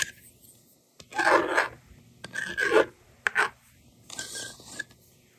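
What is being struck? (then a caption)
Plastic magnetic drawing board and stylus. A yellow plastic stylus, held by long-nailed fingers, scratches numbers onto the screen of a handheld plastic toy magnetic drawing board. It makes short, irregular bursts of dry, raspy scraping with a bright hiss, separated by near-silent pauses.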